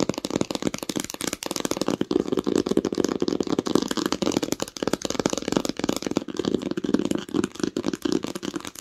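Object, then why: Hardcover book with textured cover. Long acrylic nails tap and lightly scratch the embossed, textured cover of a green hardcover book lying flat on a blanket. The result is a fast, continuous stream of dry, clicky taps with a warm low-mid body and a faint scratchy rasp, each tap ending almost instantly with no ring.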